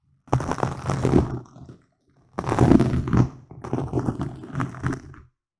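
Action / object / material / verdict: scrape / foam microphone windscreen / foam / none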